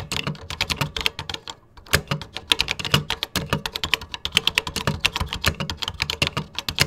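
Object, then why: Plastic computer keyboard keys. Fingertips type steadily on a 1980s vintage plastic computer keyboard with cream plastic keycaps. Rapid, sharp, bright key clicks with very short decay and a light low thud are heard, with a brief pause near two seconds before the typing resumes.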